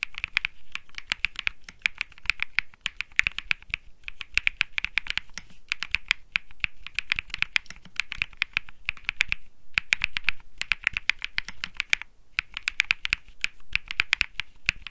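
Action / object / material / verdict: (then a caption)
tap / mechanical keyboard with plastic keycaps / plastic / none. Fingertips type continuously on a cream Think 6.5 mechanical keyboard with plastic keycaps and Bsun Lollipop switches. Rapid, crisp, clicky key presses center around 2.4 kHz with bright high-end clatter, and each strike dies almost instantly. Brief pauses break the stream near 9.6 and 12.2 seconds.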